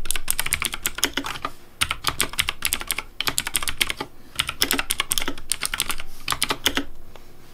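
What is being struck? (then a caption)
Plastic mechanical keyboard keycaps. Fingertips type quickly on a pink Razer Deathadder V3 plastic mechanical keyboard with backlit hollow plastic keycaps. Bright, sharp clacks come in rapid bursts with short pauses between them, each click dying away almost instantly over a low thump.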